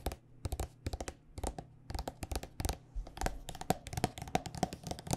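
A white plastic body butter squeeze tube filled with lotion is tapped with long nails in quick, irregular bursts. The taps are short, dry clicks with a hollow plastic knock and almost no ring.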